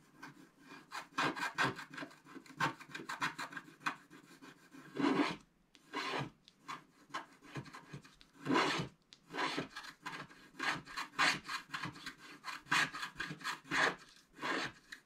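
A wooden stylus scratches the black coating at the top right of a flat scratch-art paper card. It makes a rapid series of short, dry rasping strokes with bright, papery texture and almost no low end, broken by a few brief pauses.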